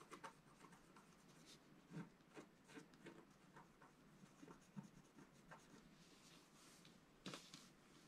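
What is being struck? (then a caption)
Black-coated scratch-art paper sheet scratched with a wooden stylus. A wooden stylus scratches and hatches lines into a flat, black-coated scratch-art sheet about A4 in size lying on a table. Quiet, dry rasping strokes come in short bursts with bright, papery edges and a soft low body. Each stroke stops dead with no ring.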